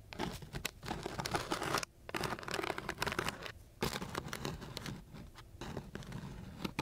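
A flat wooden stick is scratched across the gritty surface of a coarse sheet of sandpaper. Rough, dense, gritty scraping sounds with bright hiss come in bursts, with short pauses near 1.9 and 3.7 seconds.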